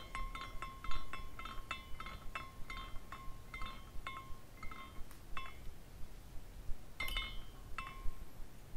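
A hand spins a small glass carousel figurine, and its hanging glass parts clink against each other in bright, chime-like taps. The tinkling comes in irregular bursts over a low background rumble, with a louder flurry near the end.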